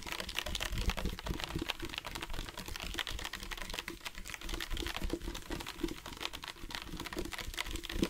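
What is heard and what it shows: Fingertips and nails rapidly tap a dark plastic sports water bottle with a loop cap, hollow and partly filled with water. The dense, continuous run of short clicky taps has a hollow tone near 340 Hz, a low thump underneath, and a bright tick on top. Each tap dies away almost immediately.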